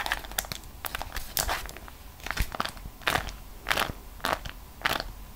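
A folded, printed beeswax-coated cotton food wrap is held between both hands and squeezed, flexed and crinkled by fingers with long decorated nails at its edges. It gives irregular bursts of crunchy, crackling crinkles, bright and dry with quick decay, over a quiet background.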